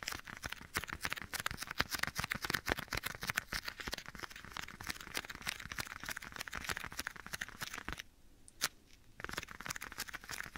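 Bare fingertips tap and rub the surface of a black leather glove worn on a hand beside the right side of a microphone. Rapid, dense, crisp taps mix with dry crinkling rubs. A brief near-quiet pause with one isolated tap comes just after eight seconds before the tapping resumes.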